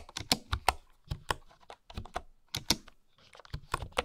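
Fingertips with long nails type on a full-size bamboo wooden computer keyboard with wooden keycaps and a hollow housing. Eleven quick, dry key taps come at an uneven pace, each a short clack with a low knock beneath a bright, crisp click and almost no ring.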